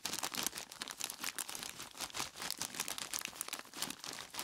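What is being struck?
Plastic bag filled with ice cubes.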